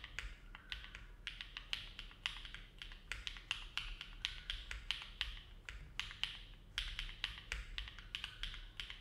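A compact silver-cased mechanical keyboard with an aluminum plate and dark plastic keycaps, resting on a desk mat, is typed on steadily with the fingertips of both hands. About forty short, bright key clicks with a clacky top end come in an even, unhurried rhythm over a low background hum.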